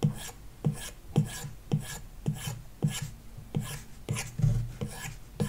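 A hard plastic stylus tip scratches back and forth across an iPad lying flat on a wooden desk, its solid glass touchscreen likely covered by a paper-like matte film. About eleven short, raspy shading strokes are heard. Each has a low thump and a dry, bright scratch that fades quickly.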